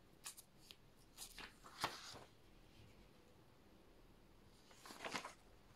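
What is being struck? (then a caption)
Paper notebook pages. Thin handwritten pages of an open paper notebook lying on a desk are lifted and turned with the fingertips, rubbing and flipping paper against paper. Soft, crisp, bright rustles and flicks come in short bursts during the first two seconds, then a quiet pause, then a final cluster of page flutters near the end.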